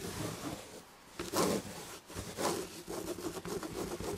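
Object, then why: Upholstered chair back, textured fabric. Long red-painted nails on both hands scratch the red and gold damask chenille upholstery on a fabric-covered chair back. The result is a soft, dry scratching rustle with a bright, hissy texture, swelling into a few louder strokes and then settling into a quicker, steady scratching.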